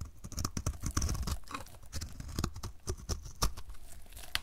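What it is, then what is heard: Dry soap bar scraped with a blade. A solid oval blue-and-white marbled dry soap bar, held in the hand, is scraped with a utility knife blade. It makes a rapid, uneven run of dry, crunchy scraping strokes with short sharp clicks that die out almost instantly. The scrapes peel off crunchy shavings.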